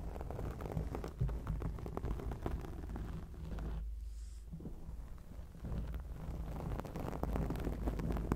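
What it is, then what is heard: Foam microphone windscreen being scratched. Long acrylic nails scratch a black foam microphone windscreen, producing a dense, muffled rumbling rustle heavy in low frequencies. The scratching eases briefly near the middle into a softer, hollow stretch before picking back up with rough, rapid scraping.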